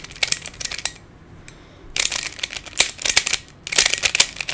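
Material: Plastic.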